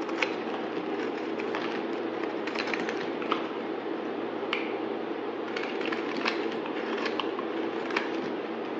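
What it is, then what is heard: Bar soap being shaved. A solid white bar of soap, held in the hand, is shaved with a utility knife blade in a steady run of cutting and scraping. A dense, even midrange rasp is broken by short, bright crackles as the blade bites into the soap.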